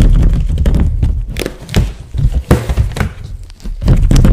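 A white latex glove, blown up like a balloon into a hollow, air-filled shape about the size of a head with finger stubs sticking out, is held in gloved hands and rubbed and squeezed. Dense, uneven squeaky rubbing and soft thunks, mostly deep and low, continue throughout with brief dips.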